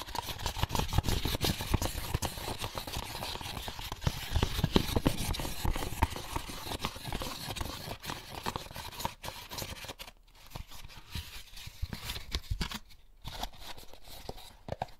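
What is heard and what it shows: An empty, hollow white molded paper pulp egg carton with a label is held in the hands while fingertips scratch and squeeze its surface. The result is a dense stream of dry, crackly scratches and soft, papery taps with a low, muffled body, growing quieter and sparser in the last few seconds.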